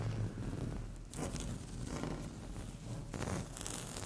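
Long fingernail tips scratch a flat, solid, speckled beige laminate tabletop in short strokes. The result is a soft, continuous scratchy rasp that is mostly low in tone, with brighter bursts of scraping partway through.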